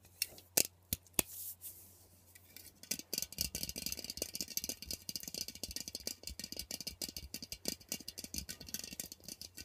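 Fingernails tap and scratch the metal body and top of an aerosol air freshener can as it is turned to show its top and nozzle. A few sharp, isolated clicks come first, then from about three seconds in a fast, steady run of dry, bright taps and scrapes continues to the end, each hit dying almost instantly.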